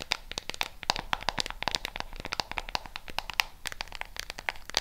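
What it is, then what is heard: Plastic remote control tapped and scratched with nails. Long pink nails tap and scratch the colored rubber buttons and edges of a flat black plastic LED remote control. Dense, rapid clicks and scratches overlap in a bright, crisp patter.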